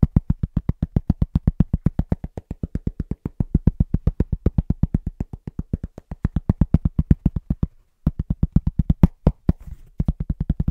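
A large, round, flat, solid cork trivet is tapped very fast and rhythmically with the fingertips of both hands. About 79 short, dull, low thuds come in quick succession, each dying away almost instantly. A brief pause falls just before the eighth second, then the tapping resumes.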